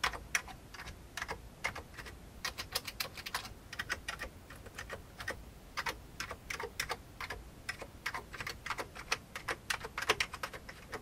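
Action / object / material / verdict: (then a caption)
tap / plastic computer keyboard / plastic / none. Fingertips of the right hand type on the keys of a full-size vintage beige plastic computer keyboard. A steady stream of short, bright, dry plastic key clicks comes at an uneven pace, each dying away almost at once. The typing is soft and quiet overall.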